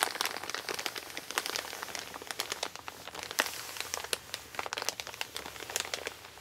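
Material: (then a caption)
Kraft paper. An empty Amazon kraft-paper mailer bag lying flat on a wooden table is rubbed and crinkled by both hands with long nails. Dense, dry crinkling and crackling fills the clip with many short, bright snaps over a steady papery rustle, with almost no low end.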